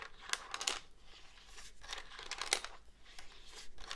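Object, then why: Plastic cordless phone handset. Fingertips and nails tap and scratch the front and keypad of a hollow black plastic cordless phone handset held upright. Quiet, irregular bright clicks and scratchy crinkling strokes come at an uneven pace, with sharper taps standing out from a soft, dry rasp.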